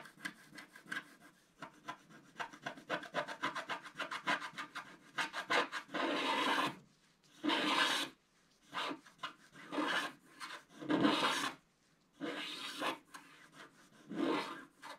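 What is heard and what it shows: A wooden stylus scratches the black coating on the lower part of a flat scratch-art paper card. Quick, rapid short scratches come first, then give way to longer, louder rasping strokes with brief pauses between them. The sound is dry, broadband and bright, with little low end.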